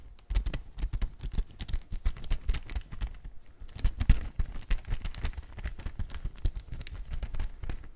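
Fingertips press, scratch and crinkle the surface of a large, thin, empty transparent plastic bag made of soft film as it is held up. The clip is a dense run of quick, close crinkles and soft thuds, with most of the energy in low, muffled thumps and faint bright rustle on top.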